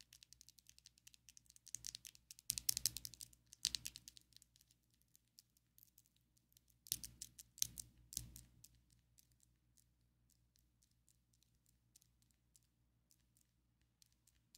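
Long, coffin-shaped ombre acrylic fake nails on both hands tap and rattle against each other in quick, light, bright clicks. The clicking comes in denser bursts around the third and eighth seconds, then thins out to faint, scattered taps over a quiet low hum.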